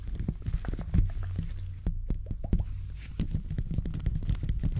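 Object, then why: Metal mesh microphone grille scratched by gloved fingers. Textured gloved fingers continuously scratch and rub the hollow metal mesh grille of a silver condenser microphone. The close contact produces a dense stream of muffled, boomy low thumps and rustling scrapes, with short bright ticks scattered throughout.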